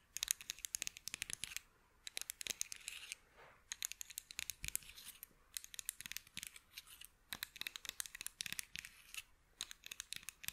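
Long acrylic nails scratch and tap a pair of small, solid light-wood toy scissors held up close to the microphone. Quick bursts of bright, crisp scratching and clicking come in clusters separated by brief pauses. The sound is quiet, with almost no low end.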